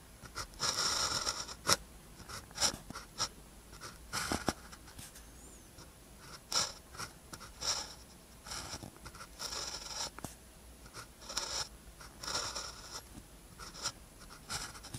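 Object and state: Pen writing on a paper sheet.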